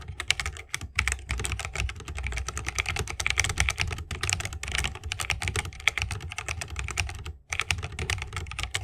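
Both hands type continuously with their fingertips on a 60% mechanical keyboard with plastic keycaps and Holy Panda tactile switches in a bamboo wooden case. A dense, rapid stream of short, bright clacks rides over a deeper low thump, with a brief pause near the end before the typing resumes.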